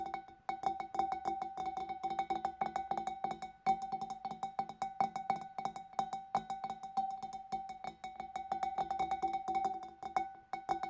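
A hand inside the opening of a large, empty, clear glass fish bowl taps the hollow bowl's inner wall with its nails in a quick, steady stream. Each tap gives a short, bright glassy click with a clear ringing pitch near 780 Hz that fades almost at once, and the taps run on continuously with brief pauses.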